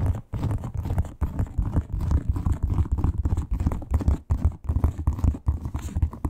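Long pointed nails scratch rapidly over a flat red croc-embossed leather wallet with a crocodile texture. The result is a dense, low, rumbling scratch with quick repeated strokes, broken by a few brief pauses.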